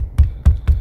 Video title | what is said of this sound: 전원주택 칼라강판 지붕공사 [시공비용 : 1,300만원] | 퉁퉁퉁 소리 들리죠? 판넬 지붕이에요.